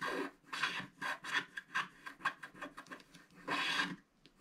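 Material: Cardboard.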